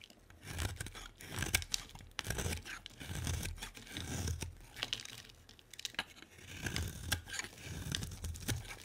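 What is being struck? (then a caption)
Bar of soap shaved with a blade. A solid purple rectangular bar of soap, held in the hand, is shaved into curls with a utility-knife blade. Irregular strokes about once a second give crisp, tearing scrapes with bright crackle over a low, dull rumble.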